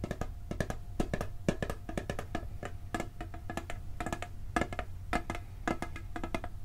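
Fingertips tap rapidly on the lid of a hollow, round blue steel cookie tin. The taps come in quick, uneven bursts, each a short hollow knock that dies away almost at once. A faint metallic ring sits over a steady low rumble.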